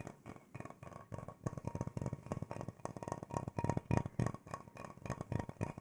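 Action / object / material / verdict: tap / wooden bowl / wood / none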